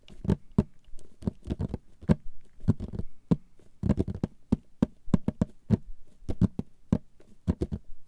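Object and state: Cardboard box lid.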